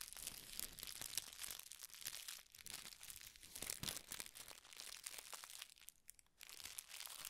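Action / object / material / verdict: shake / tissue paper / paper / none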